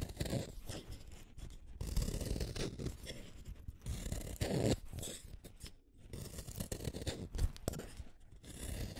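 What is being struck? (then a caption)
Wooden colored pencil. A small metal blade shaves a solid green wooden colored pencil, making a run of dry, rasping scrapes and crunchy strokes. Each stroke has a soft low body and a bright, papery hiss, with brief quiet gaps between bursts.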